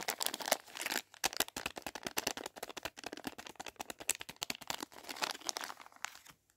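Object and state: Plastic candy sachet crinkled.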